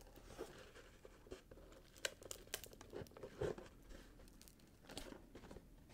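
A small rectangular cardboard gift box, wrapped in red patterned paper with a gold ribbon, is turned in the hands while fingertips tap and scratch the wrapped surface. Soft papery crinkles and scratches run throughout, broken by short dry taps and brighter rustling bursts. The sound is quiet and close, with no voice.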